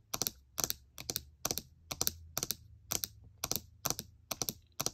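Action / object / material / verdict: tap / plastic laptop keycaps / plastic / none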